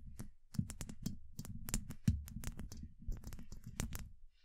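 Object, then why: Steel mesh microphone grille. Long acrylic nails tap on a steel mesh microphone head, producing a rapid, uneven series of short, dry clicks. The taps have a heavy, dull low-end thump with a crisp high tick on top, and each one dies away almost instantly.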